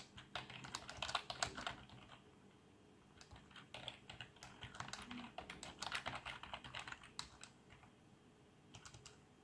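Both hands type rapidly with their fingertips on a black plastic membrane keyboard with RGB backlighting. They produce bursts of soft, bright, short clacks that die away almost instantly, with quieter pauses between the flurries.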